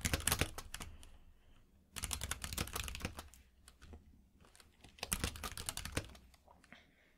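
Fingertips type on a compact mechanical keyboard with plastic keycaps in three quick bursts separated by short pauses. Each keystroke is a sharp, bright clack over a low thump, and the clicks die away almost instantly.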